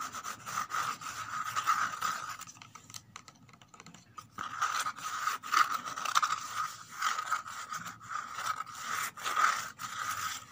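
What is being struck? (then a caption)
Corrugated cardboard box. Several fingernails rapidly scratch and tap the bottom and inner edge inside an empty corrugated cardboard box. The result is a dry, papery rasping with quick taps and a hollow midrange ring near 1.3 kHz, with no low end. The activity eases into a quieter stretch around three to four seconds, then resumes in dense, busy bursts.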